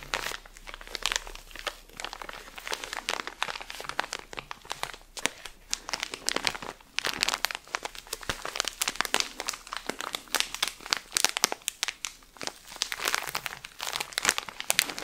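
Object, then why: Pack of cotton pads in thin plastic film. A cylindrical pack of cotton pads wrapped in thin crinkly plastic film with a pink and white label is held close to the mic while fingers and nails squeeze and scratch the wrap. Dense, bright crinkling and crackling with many short sharp snaps runs continuously, with almost no low end.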